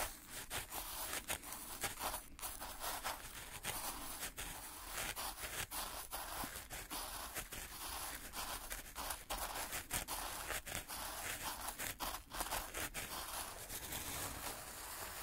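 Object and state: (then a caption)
Fine black sand scraped with sticks. Wooden sticks held in gloved hands scratch and drag through fine speckled black sand or grit in a white plastic tray. The result is a steady, bright, gritty scraping hiss, broken by frequent brief crunchy ticks as the sticks move through the grains.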